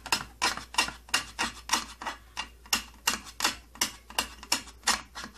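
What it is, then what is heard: Plastic tattoo kit case. Fingernails scratch and rub the purple plastic side panel of an opened plastic tattoo kit case, making 17 short, dry, bright scratching strokes. The strokes come in an uneven rhythm of a little under three per second, each fading almost at once with no ring.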